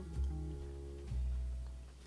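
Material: Nothing is struck.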